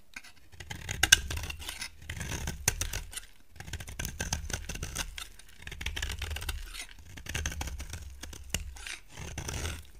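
A solid yellow bar of soap held in the hand is scraped and carved with a utility knife blade, its shavings falling onto a pile. Bursts of dry, crisp scraping come in repeated strokes, with bright rasping detail over a soft low rumble and a few sharp clicks where the blade catches.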